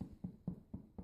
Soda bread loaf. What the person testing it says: you hear that it makes a hollow sound when you um knock on it